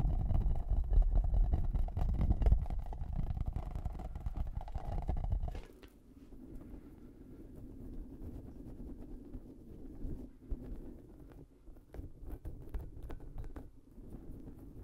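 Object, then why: Spiky rubber puffer ball. Fingertips rub, scratch and squeeze the soft spikes of a large, hollow, squishy purple rubber puffer ball held in one hand beside the microphone. For the first five and a half seconds the close handling makes a loud, deep, muffled rumble, then it drops to a quieter, steady run of soft scratchy rustling with small irregular crackles.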